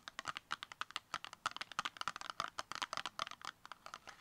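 Long acrylic nails tap rapidly on the sides of a small, hollow, brown rectangular cardboard makeup box held upright. About 24 quick, dry, clicking taps with a papery midrange tone around 1.2 kHz and some bright edge come in an uneven, rapid pattern. Each tap dies away almost instantly.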